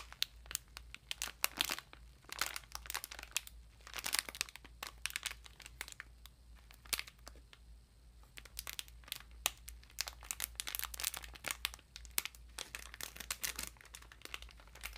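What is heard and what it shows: A clear plastic wrapper around a Mister Afterspa exfoliating bath sponge is slowly crinkled and handled with fingertips and long nails. Dense bursts of bright, crackling crinkles come in waves, with brief pauses between them, over a faint steady low hum.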